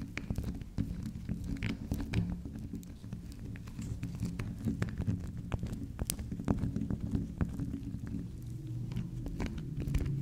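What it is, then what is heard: Soft soap bar tapped and scratched with fingernails. Long acrylic nails tap and scratch the top and side of a small, round, solid pink spiral soap. The result is a steady stream of soft, dull, low taps with quick bright clicks and light scratching between them, each sound dying away almost at once.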